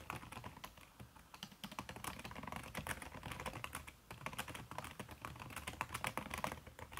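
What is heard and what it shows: Fingertips with long red nails type fast on a backlit aluminium laptop keyboard fitted with a red silicone key cover. The result is a dense, continuous run of soft, muffled clicks and taps with short, dry decays and occasional brighter nail ticks.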